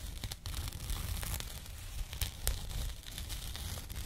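A small labeled burlap jute pouch is held up close and scratched with fingernails. The result is a continuous dry, rough scratching and rustling with a heavy low rumble underneath and brief bright crackly bursts scattered throughout.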